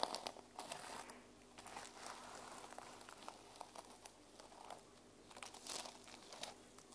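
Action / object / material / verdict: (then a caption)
scrape / plastic sequin-covered journal cover / plastic sequins / none. A small, solid teal journal with a plastic sequin cover is held in the hands while fingertips and nails rub and scratch back and forth across the sequins; both hands then hold it up. The result is a quiet, bright, crinkly scratching with dense little clicks and ticks that swell and fade in waves, with almost no low end.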